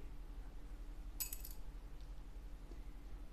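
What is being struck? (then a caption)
Plastic guitar saddle. A plastic guitar saddle is dropped to compare it with other saddles for a Cort AD810 nut and saddle upgrade. It gives four quick, bright, glassy clicks that die away almost at once, over a steady low hum.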